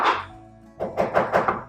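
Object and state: Hollow inner wall.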